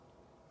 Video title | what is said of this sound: NH Audubon Box Turtle Q and A | shells are really really really thick you can hear